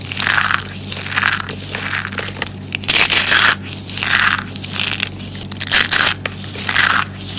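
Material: Soap.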